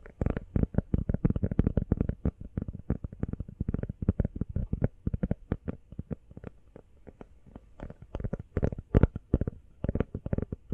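An empty, small, hollow teal rubber phone case is tapped rapidly with long nails. The result is a fast, dense patter of short, dull, low thuds with almost no ring. The tapping softens through the middle and then picks up again with louder clusters near the end.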